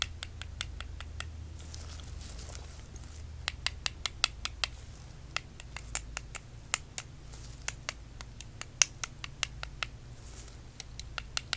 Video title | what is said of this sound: ASMR // Crystal Assessment and Identification - Crystal Testing with Lights, Tapping, Gloves | That sounds how good it should sound.